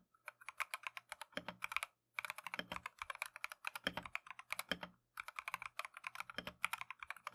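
Gloved fingertips type continuously on a plastic Keychron V1 mechanical keyboard with Tangerine switches and green and cream PBT Matcha keycaps. About 54 short, crisp, clacky taps come in rapid runs, briefly pausing around 2 and 5 seconds. Each tap is bright and centered near 2.3 kHz, with little low end and almost no ring.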